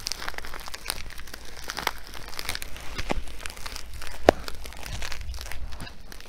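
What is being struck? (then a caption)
Filled nylon fabric sandbag. A filled blue nylon fabric sandbag with sewn compartments and black trim, held in both hands, is scratched and crinkled with nails and fingertips. The result is a steady, dense stream of soft, dry crinkling and scratching, with one sharper snap partway through.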